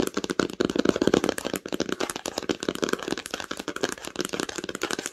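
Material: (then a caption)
Cloth, board. Long acrylic nails tap quickly on the cover of a red cloth-bound hardcover book lying flat on a blanket. The result is a dense, steady stream of short, dry clicks with a muted mid-range body and almost no ring.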